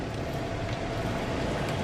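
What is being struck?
Nothing is struck.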